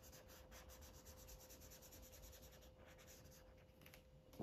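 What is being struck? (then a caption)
Felt-tip marker on a paper coloring book page. A felt-tip Sharpie marker rubs rapidly back and forth across a thin white coloring book page lying flat while coloring in cupcakes, making a soft, steady scratchy swish with bright, airy strokes. A faint constant hum runs underneath, and a short louder bump lands at the very end.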